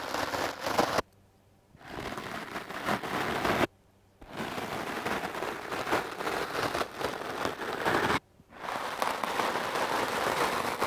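A foam microphone windscreen is brushed quickly with the hard bristles of a wooden clothes brush. The result is a dense, scratchy, crackling rustle that sounds close-up and mid-range. It comes in four stretches separated by brief silent pauses.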